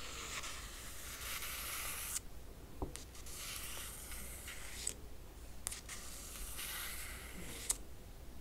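Long nails trace and scratch the printed, laminated cardboard cover of a closed hardcover crochet book lying flat. The result is bright, hissy scraping strokes separated by short pauses, with small clicks where the nails catch. A steady low hum runs quietly underneath.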